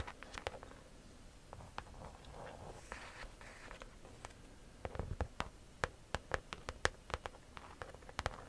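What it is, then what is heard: Croc-embossed leather handbag. A pale-yellow croc-embossed leather handbag is held up close while long nails scratch and tap its front and sides. Soft, quiet scratching fills the first half, then gives way to a run of crisp, sharp taps that click and stop dead with no ring.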